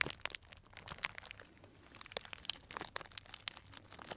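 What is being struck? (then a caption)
Cellophane bag of dried tea pieces. A small, tied, clear plastic cellophane bag full of dried tea pieces is squeezed and crinkled with fingers. It makes quiet, bright, crisp crinkles and sharp little crackles that come in scattered bursts and stop almost instantly, with hardly any low end.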